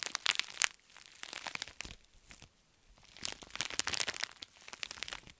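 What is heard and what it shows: A pink metallic foil bubble mailer is twisted and crushed in the fists, then held flat and rubbed. Bright, sharp crinkles and crunches come in dense bursts, drop to a quiet lull around the middle, then return as a steadier rustling crackle.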